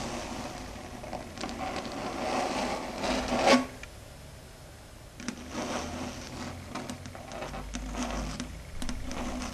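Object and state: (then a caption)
Chalkboard scratched and tapped with fingernails. Long red stiletto nails scratch and tap across a flat dark grey chalkboard surface, giving dry scraping strokes and light clicks. The scratching builds to a loud, bright screech near the middle, drops to a quiet pause, then resumes with steady tapping and rubbing.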